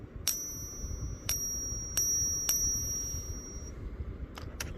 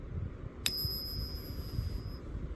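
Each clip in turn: First: 40% silver half dollar. Second: real 90% silver half dollar.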